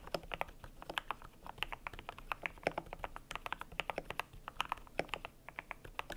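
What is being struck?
Plastic mechanical keyboard with PBT keycaps.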